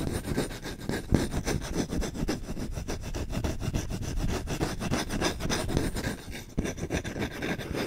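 A medium-size solid wooden spoon is held in front of a microphone while its bowl and handle are scratched fast with short nails and fingertips. Rapid, rough scratching and rubbing strokes run continuously, with a dense, low, woody texture and a steady rasp. A brief dip near the six-second mark is followed by the scratching picking up again.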